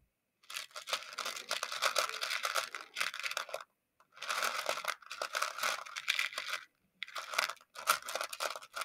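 Small colorful plastic pony beads in a shallow round clear plastic dish are stirred and scratched with the handle of a makeup brush. They give a dense, bright clicking and rattling with no low end, in three long bursts separated by short silences.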